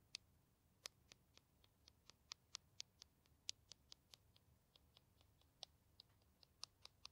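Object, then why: Plastic hand cream tube. A small green plastic hand cream tube, held in the hands, is tapped and scratched with long nails. Around 22 quiet, sharp, high-pitched clicks sound at an uneven pace, each dying out at once with no ring.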